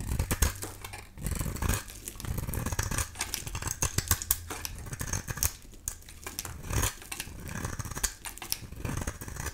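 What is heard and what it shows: A solid, dry amber-yellow bar of soap with pink paint remnants is held in the hand and shaved into curls with a utility knife blade. The clip is a steady run of short, crisp scraping and cutting strokes with bright, crackly high-end texture and a low thump underneath. The strokes come in quick, uneven bursts with brief pauses between them.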